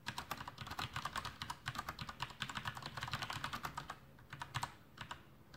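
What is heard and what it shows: A full-size black plastic Masterkeys Pro M mechanical keyboard with Cherry MX Brown switches and blue backlit keycaps sits on a desk while the fingertips of both hands type continuously. The result is a fast, dense run of clacky keystrokes, each with a low thud and a bright tap. The typing thins to a few scattered presses in the last second and a half.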